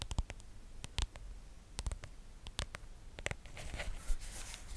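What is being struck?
Plastic phone case on a smartphone.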